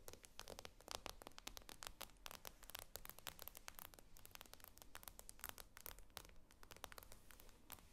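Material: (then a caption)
Glass. Long acrylic nails rapidly tap and scratch the glossy glass screen of a tablet lying flat on a table. The result is a quiet, dense stream of sharp, bright clicks mixed with light scraping and rustling, each tap dying away almost instantly.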